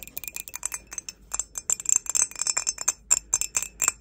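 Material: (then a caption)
Ceramic. A grey, glossy glazed ceramic mug, hollow and empty and held in both hands, is tapped on its outside wall by long acrylic nails. A rapid, irregular run of about twenty-two short taps rings out as bright, chiming clinks that die away almost instantly, with nothing in the low end.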